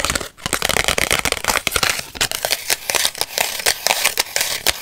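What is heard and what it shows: Long white acrylic nails scratch and rub the edge and face of a small, flat purple Polaroid instant photo with a white frame, made of paper and plastic. The result is a dense run of quick, dry, crackly scratches and rubs, mostly bright with almost no low end. Each stroke stops short with no ring.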